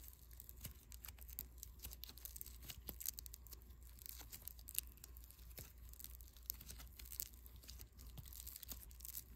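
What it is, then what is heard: Foam bead clay. A small lump of unpackaged white foam clay made of tiny polystyrene beads, soft and solid, is squeezed and rubbed between fingertips and thumb. It gives a continuous run of quiet, dense crackling and tearing with many tiny bright ticks over a steady low hum.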